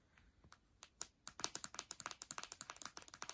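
Long dark nails tap the aluminium palm rest, the glass trackpad and the keys of an open MacBook Air lying on a bed. Faint, sharp, dry clicks start sparse and quickly speed up into a dense run of bright, high-pitched taps with almost no ring.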